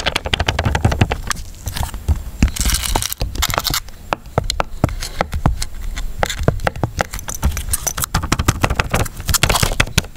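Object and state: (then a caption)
Sealed plastic water cup. A small, clear, ridged plastic cup of drinking water, full and sealed with a foil lid, is held in both hands over a wooden bowl and tilted while fingertips and nails scratch and tap its ridged sides. The result is a dense stream of quick, dry clicks and crackly scrapes with bright edges over a low, soft thumping undertone. The taps are sharp and short, with no ring after each one.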